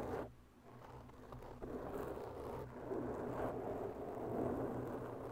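Long bare fingernails slowly scratch a large, soft, porous black foam microphone windscreen from both sides. The result is a continuous, muffled scratching and rustling sound, concentrated in the low-mid range with little high-frequency content. The sound swells and fades gently as the strokes move.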